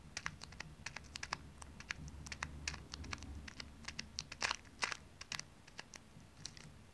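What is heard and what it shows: Long painted nails tap and scratch a small printed plastic resealable pouch full of tiny dry water beads, held flat on the palm and in the hand, while fingers crinkle it. A rapid, uneven run of short, bright, clicky taps and scratchy crinkles plays over a faint low hum, with a few louder taps near the middle.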